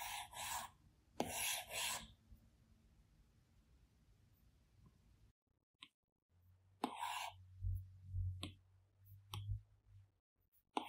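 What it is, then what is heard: Glass tablet screen under a stylus. A plastic Apple Pencil tip makes repeated scratchy strokes and light taps on the large flat glass screen of an iPad Pro, with short bright rasping bursts separated by quiet pauses. A low steady hum sits beneath the later strokes and taps.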